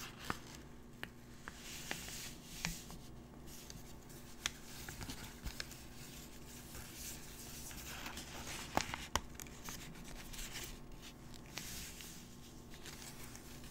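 Fingertips rub and smooth across a thin, slightly crumpled handwritten paper sheet lying flat, handling its creased surface. The quiet, steady papery brushing carries bright hiss, broken by irregular short, dry crackles and ticks as the creases shift, over a faint low hum.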